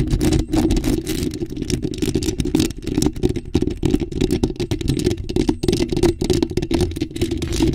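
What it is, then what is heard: Metal mesh microphone grille being scratched. Long acrylic nails aggressively scratch a bare, hollow black metal mesh microphone grille while hands wrap around it. The result is a dense, continuous rasping rumble, heavy in the low end with a resonant tone around 340 Hz. Rapid strokes flutter through it at a steady, loud level with very little bright content.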